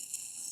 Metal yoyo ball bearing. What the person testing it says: 最初は回転音が短く聞こえるんだけどある瞬間から長く聞こえるんですよ こんなふうに長く聞こえますよね